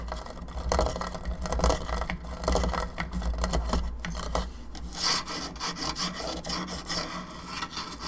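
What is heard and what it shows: Long nails scratch and rub the jaw and lower skull of a hollow plastic skull candelabra lamp, with some touching near the base. The result is a steady, dry rasping scrape with scattered bright scratches over a low, constant hum.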